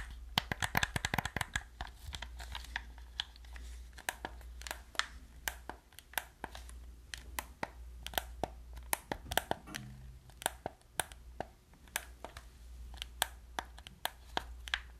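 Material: Plastic.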